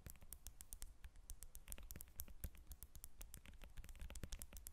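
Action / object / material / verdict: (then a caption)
tap / whole lemon tapped and scratched with fingernails / citrus peel / none. Long nails tap and scratch the peel of a whole yellow lemon resting on a table. Quick, quiet clicking taps come in a dense, uneven stream, with soft scratchy rustling between them and a dull low thud under each tap.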